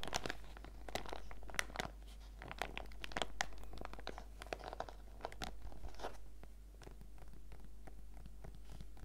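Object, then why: Plastic zip pouch with foil sachets inside. Painted fingertips and nails press, squeeze and tap on a small transparent PVC zip pouch with a fruit print and a pink zipper, filled with packaged face-mask sachets. Dense, bright plastic crinkles and sharp little taps come in quick bursts over a steady low hum throughout.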